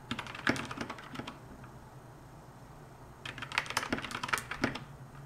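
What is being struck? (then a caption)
Plastic mechanical keyboard. Someone types with both hands, using fingertips and long nails, on a compact 60% plastic mechanical keyboard with pastel keycaps and a white plastic case. Two bursts of quick, irregular, bright clacking keystrokes are separated by a pause of about two seconds. A low, steady hum runs underneath throughout.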